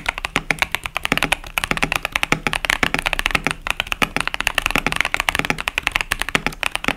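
Steady fingertip typing on a KBD67 Lite 65% plastic mechanical keyboard with tactile Boba U4T switches and plastic keycaps, producing about 49 quick, bright clacks. Each keystroke is short and dry with almost no ring, and most of the energy sits in the upper range with little low thump.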